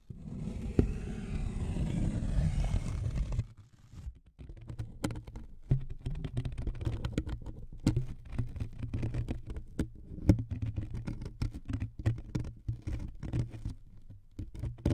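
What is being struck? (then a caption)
Thin wood veneer strip. Fingernails tap and scratch the surface of a thin, flat wood veneer strip about 15 cm long resting across two foam-covered microphones. A dense, steady scratching rasp comes first, then a quieter stretch of many quick, dull taps and soft scrapes over a low, boomy body. The close pickup makes it sound heavy in the bass.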